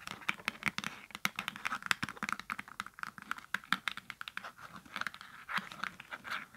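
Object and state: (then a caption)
Hollow cardboard box. Long acrylic nails tap and scratch a small, hollow holographic cardboard product box with a hang tab. The result is a rapid, uneven patter of dry, clicky taps mixed with scratchy rasps, bright and light with almost no low end, each hit dying away instantly.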